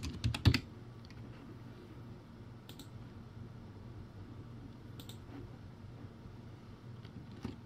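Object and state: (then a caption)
Plastic keyboard being typed on. Fingertips type on a crappy plastic typewriter-style keyboard, a backlit board with round white plastic keycaps. A quick burst of sharp clicky keystrokes opens the clip, followed by scattered single clicks over a steady low hum around 113 Hz.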